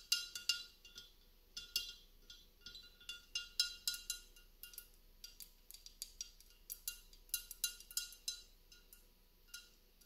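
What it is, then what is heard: Glass candle holder tapped with fingernails. Long nails tap and scratch a hollow, empty gold-speckled mercury glass hurricane cup on a wrought iron stand. Around thirty quick, bright clinks ring out at an uneven pace, each dying away almost at once over a faint high ringing tone.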